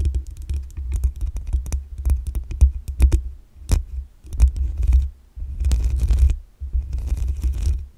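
Long acrylic nails scratch and tap the black metal mesh grille on top of a desktop condenser microphone with a hollow head. Quick clusters of clicky taps give way to longer stretches of rough scraping. Each contact comes with a deep, boomy low rumble and a thin, bright scratch.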